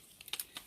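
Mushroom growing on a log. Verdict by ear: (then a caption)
Crisp. A mature mushroom growing on a log is broken off, giving a few quick, crisp, bright crunching snaps with almost no low end. The crunch shows the old mushroom is crisp.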